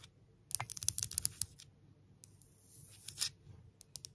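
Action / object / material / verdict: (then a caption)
tap / smooth engraved stone pebble / stone / none. Long nails tap and scratch the surface of a palm-sized, solid, smooth grey stone engraved "Love," held in one hand. A burst of sharp, bright clicks is followed by a soft, hissing scratch, then a few more light taps. Each tap is dry and dies away almost instantly.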